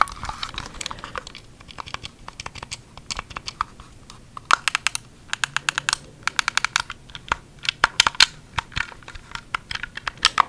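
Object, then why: Hard plastic handheld game controller. A small, hollow, white hard-plastic Wii Remote game controller is held close to the mic while fingertips and short nails tap its plastic shell and press its buttons. Many quick, dry, bright clicks and taps come in irregular bursts, each dying away almost instantly, with little low-end weight.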